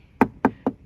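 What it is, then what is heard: Plastic scooter panel. Three short, hollow knocks on a plastic panel of a Vespa Primavera Yacht Club limited-edition scooter, which contrasts with the scooter's steel body. Each knock is a dull mid-range tap that dies away almost at once.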